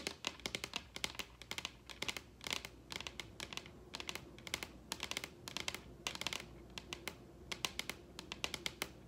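Long red acrylic nails tap and scratch across the surface of a large, solid wooden dining tabletop. The result is rapid bursts of sharp, bright clicks and ticks that die away almost instantly, with a faint low hum underneath.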